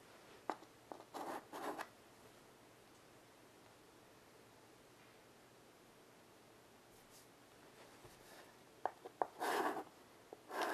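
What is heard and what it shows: A stick of chalk draws short hatching strokes on a small wood-framed blackboard resting on carpet, making dry, scratchy taps and brief rasping bursts. Two clusters of strokes are heard, near the start and near the end, separated by a long quiet stretch.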